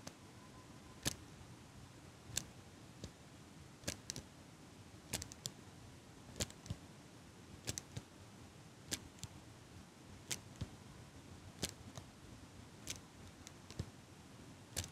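A small metal eyelash curler is held close to the microphone while a hand with long pink nails squeezes and releases its clamp. Each squeeze and release makes a short, sharp, bright metallic click. The clicks repeat at a loose, unhurried pace over a soft, steady background hiss.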